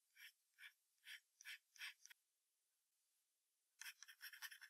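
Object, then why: Graphite pencil on a paper sheet over hardboard. A wooden graphite pencil scratches across a thin sheet of white drawing paper taped to a hardboard clipboard, making fast hatching strokes near the tail. Six evenly spaced, bright, raspy strokes are followed by a short near-silent pause, then a quicker, denser burst of overlapping scratches. There is no low-end thump.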